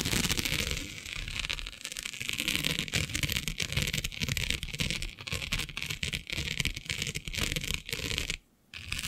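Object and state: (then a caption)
Plastic mesh sheet being scratched. Long nails scratch and pluck at a flat black iridescent plastic diamond mesh sheet, working across its grid. The result is a dense, bright, crackly scratching with rapid dry ticks and plucks, broken by a brief silence near the end before the scratching resumes.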